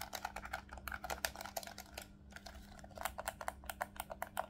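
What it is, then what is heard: Plastic game controller buttons. Fingertips rapidly press the shoulder buttons and triggers of a black plastic Nintendo Switch Pro controller, a hollow handheld device held in both hands. The result is a quick run of short, dry clicking taps with a brief lull around the two-second mark. A faint steady low hum sits underneath.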